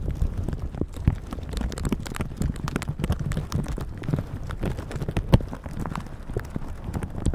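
A plastic shower cap stretched over a microphone is squeezed and rubbed with red silicone bristle gloves. The result is a dense, steady stream of close, muffled crinkling and rustling, heavy in low thumps with little high end. Quick soft taps and scrapes run throughout, with a few sharper crackles standing out.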